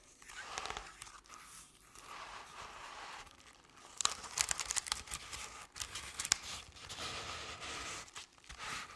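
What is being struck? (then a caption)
Crepe-paper-covered decorative pumpkin. Long decorated acrylic nails slowly scratch the ridged surface of a medium-sized round decorative jack-o'-lantern covered in crinkled orange crepe paper with black paper face cut-outs. The result is a soft, dry, papery crinkling and scraping, mostly bright and airy with little low end. Sharper ticks and crackles stand out in the middle of the clip.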